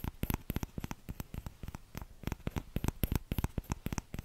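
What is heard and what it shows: Fingertips tap the empty bowl of a small orange plastic ladle, held by the handle, close to the microphone. About 28 quick, dull taps land in an uneven rhythm of roughly three to four per second. Each is a soft, low thump that stops almost at once with no ring.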